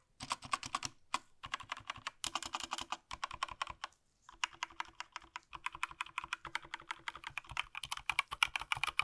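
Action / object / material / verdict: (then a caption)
tap / plastic mechanical keyboard / plastic / none. Gloved fingertips tap the plastic keycaps of a small black Razer BlackWidow V3 65% mechanical gaming keyboard, first with one hand, then typing with both hands. Rapid, bright, crisp clacks with almost no ring come in steady bursts, broken by short pauses, the longest just before the halfway point.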